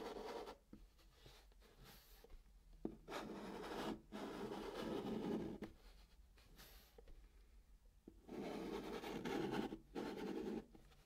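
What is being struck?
Chalk on cardboard box surface.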